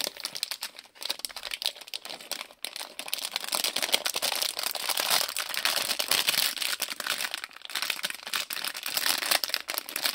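Fingertips bend, crinkle and press a small printed plastic-film Lego polybag with bricks inside against a table. A dense, bright crackling rustle carries through the clip with almost no low end, growing fuller after a brief lull near the start, punctuated by sharp crinkly snaps.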